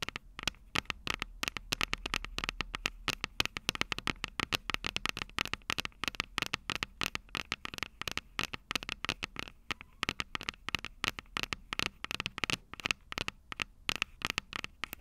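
Long purple nails tap and scratch the metal microphone capsules of an upright Tascam DR-05 recorder. The result is a rapid, steady stream of sharp, dry clicks and scratches that are bright and crisp, with almost no ring, over a low, quiet background hiss.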